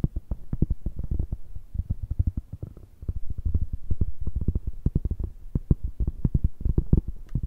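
A large, round, flat, solid cork coaster held up in both hands is tapped and scratched with long red-painted nails. The result is a rapid, uneven patter of soft, dull, low thuds with a faint scratchy texture and almost no ring, pausing briefly before the tapping resumes.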